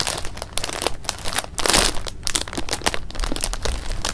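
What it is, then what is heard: Plastic bag of jelly beans. A clear plastic bag of jelly beans held in the hands is squeezed, crinkled and shaken. A dense run of bright, crackling plastic crinkles and rustles fills the clip, with a louder, harsher crunch of the bag around the middle and the candies shifting inside.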